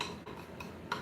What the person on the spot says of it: it's turned into rock it crystallizes so it's almost like ceramic if you well this sounds more rocky